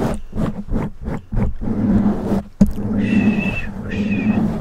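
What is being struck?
Foam microphone windscreen.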